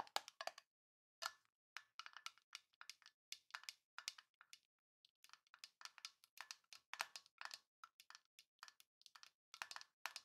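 A small, hollow rectangular printed tin box with a Grinch design is held in both hands and tapped and scratched with long painted nails. The sound is a quiet run of quick, bright metallic clicks and scratchy taps with almost no ring, bunched in uneven bursts separated by short pauses.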